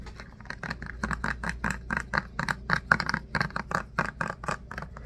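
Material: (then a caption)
Plastic. A hollow plastic Softsoap pump bottle filled with liquid soap is tapped and scratched with fingertips and short nails. It produces a rapid, uneven series of short, dry taps with a hollow mid-pitched knock around 1.5 kHz, mixed with light scratchy rasps. A faint steady low hum sits underneath.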